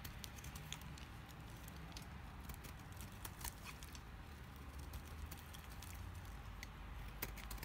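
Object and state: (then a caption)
Dry bar soap, brittle. A knife blade cuts and scrapes a solid, rectangular bar of dried pink soap, breaking off brittle chips. Quiet, scattered, bright crackles and sharp clicks pop over a steady low rumble throughout.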